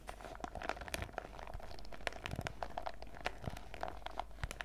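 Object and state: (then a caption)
Plastic zip pouch of sachets, crinkling. A printed clear PVC zip pouch full of sachets is held in the hands while fingertips and nails squeeze and scratch along its top edge. The result is a dense run of soft crinkles and sharp, brief plastic crackles, with a faint steady tone underneath.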